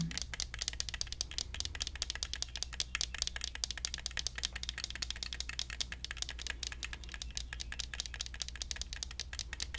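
A small hollow plastic toy cactus in an orange plastic pot is held in both hands and tapped by fingernails on the pot and the cactus. The result is a fast, steady run of short, dry, bright clicks that die away almost instantly. A constant low hum sits underneath.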